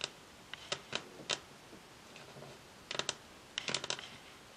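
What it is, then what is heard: Varnished wooden tabletop tapped with nails. Long acrylic nails tap rapidly on a solid, glossy varnished wooden tabletop, with both hands resting flat on the surface. Thirteen sharp, bright clicks with no lingering ring come in uneven bursts, clustered around the one-, three- and four-second marks.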